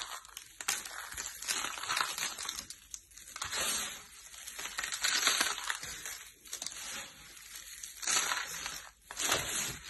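A large pile of green and blue dry soap shavings is rubbed and crushed by both hands with the fingertips on a purple mat. Dense, bright crunching and crackling runs throughout, swelling in waves as the flakes are pressed and worked. There is almost no low end.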